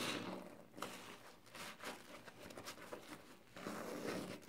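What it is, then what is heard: Foam kitchen sponge with scouring pad. Fingers rub and scratch the green abrasive side of a hand-sized, soapy yellow and green foam kitchen sponge with a scouring pad, then squeeze the foam. Soft, wet squelching and bright, scratchy rasps rise and fall across the clip at a low overall level, with short crackling bursts in the middle.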